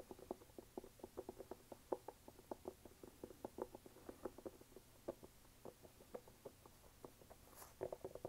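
Fingernails tap and scratch quickly on the brown rubber outsole of an empty red canvas sneaker. About 23 quiet, dry, mid-pitched taps come in a fast, uneven run, with no ring after each one. A brief brighter scratch comes near the end, followed by a final cluster of taps.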